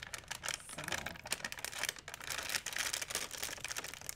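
A flattened, empty white plastic shopping bag is held in both hands and crinkled. It produces a steady stream of dense, bright crackling and rustling with quick, sharp snaps and almost no low end, at a fairly quiet level throughout.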